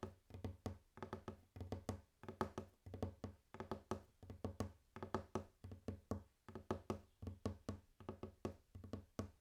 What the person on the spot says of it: Today I am tapping on my wooden table. It starts with gentle tapping, and gets more intense and faster later on.